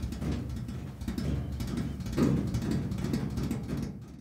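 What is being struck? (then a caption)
Painted steel washing machine lid. Fingertips and nails tap on a large, flat, enamel-painted steel washing machine lid set over a hollow body. The result is a quick, steady run of soft, dull, booming taps, low and hollow with little brightness, that swells slightly in the middle and stops abruptly just after four seconds.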